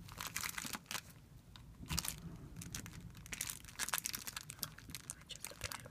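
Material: Plastic film.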